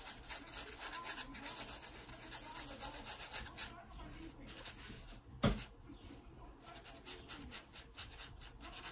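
A graphite pencil makes vertical shading strokes on an open paper sketchbook page, producing a steady, soft rubbing and scratching with bright, papery grain. The strokes repeat in quick, uneven bursts, with one sharper, louder tap partway through before the quiet rubbing continues.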